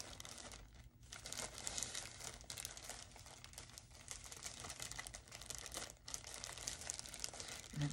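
Fingers crinkle and squeeze the thin plastic bag around a full loaf of Great Value sliced white sandwich bread as it is held up and handled. A dense, bright crinkling runs almost continuously, with brief quieter moments near the first second and the sixth second.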